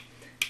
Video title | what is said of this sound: ADATA XPG EMIX H20 REVIEW - A BUDGET HEADSET THAT WORKS!! | rattles a little bit if you flick it